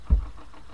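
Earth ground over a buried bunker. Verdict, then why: Hollow. A single strike on the earth over a bunker gives one deep, dull thud, almost all of its energy very low, around 60 Hz. It dies away quickly into a faint low background. This spot sounds hollow.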